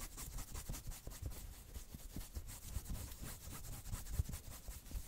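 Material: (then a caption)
Knit fabric. Long nails quickly scratch the front of a worn, dark red patterned knit sweater near the chest and shoulders. The result is a steady, soft stream of rapid rubbing and scratching, with dull low thumps and a faint bright hiss over the top.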